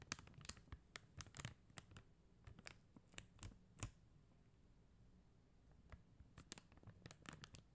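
Long mint-green nails tap and scratch across a plastic rhinestone sticker sheet: a flat white backing sheet covered in blue and clear faceted plastic gems, lying on a gold glitter surface. The result is a quiet series of sharp, bright clicks and dry scratchy ticks with no ring, coming in two bursts separated by a calmer stretch in the middle.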